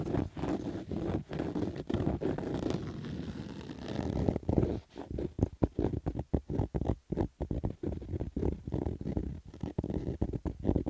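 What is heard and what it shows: Fingernails scratch along the stitched rows of the brim of a black Adidas fabric baseball cap. The first few seconds are a fairly steady, muffled rasp, which then breaks into quicker, choppy strokes. The scratching is dull and low-heavy, with almost no bright content.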